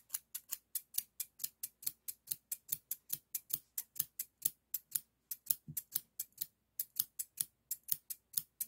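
Hand-sized, solid stainless steel hair thinning shears with a toothed blade are held in the fingers and opened and closed, their blades and pivot clicking and sliding, while other scissors lie still on the table. About 38 quiet, sharp, bright snips come in a quick, steady rhythm. Each click dies away almost instantly, with almost no low end.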